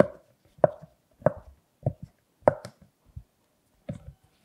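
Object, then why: Silicone pop-it purse. Fingertips push the hollow bubbles through on a large rainbow silicone pop-it purse, then the hands lift and turn it. The result is a series of sharp, hollow pops with a short resonant tone around 600 Hz, each followed by softer rustling and a few quieter clicks, spaced irregularly.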